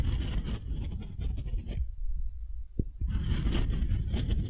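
A solid, light beech-wood ball about the size of a fist is held in one hand and scraped and rubbed with the bowl of a wooden spoon, while long nails also touch it. A dense, low, rumbling scrape carries bright, hissy friction, then drops to a quieter stretch with a couple of short taps before the scraping resumes.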